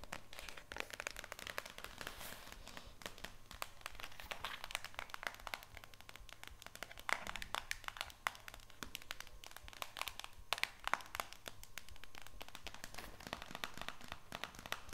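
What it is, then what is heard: Plastic jug tapped with nails. A white HDPE plastic jug of oxygen bleach with a handle, hollow with powder inside, is held up and tapped rapidly on its sides and front with long painted nails. Many quick, dry, clicky taps with bright, crinkly edges die away almost instantly, over a faint steady low hum.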